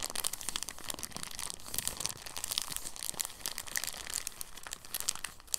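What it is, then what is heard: Soft plastic bag crinkling. A clear, thin soft plastic bag is crumpled and rolled by the fingertips on a table. It gives a steady, dense crinkling of bright, crisp rustles that never fully stop and have no ring.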